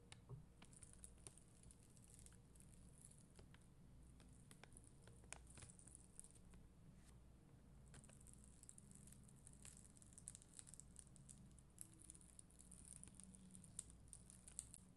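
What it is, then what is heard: Plastic rhinestone sticker sheet. A postcard-sized plastic rhinestone sticker sheet, with red and clear faceted acrylic gems on a white backing, is scratched and brushed with a black mascara spoolie held by long green nails. Soft, steady crackly patter and bright ticking scratches sit over a quiet low hum throughout.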